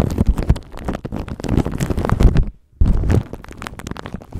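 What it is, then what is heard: Plastic wrap crinkling on a microphone. Fingertips and nails rub, scratch and crinkle a thin clear plastic bag wrapped around a microphone, making dense, close crackling and rustling with a heavy low rumble. The crinkling pauses into near silence for a moment just past the halfway point, then resumes more softly to the end.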